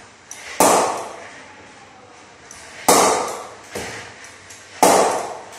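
An SG Players Extreme willow cricket bat is knocked in by repeatedly striking a hanging ball with it. Three sharp, loud knocks ring with a bright, woody tone around 800 Hz and fade quickly. Softer taps fall between them.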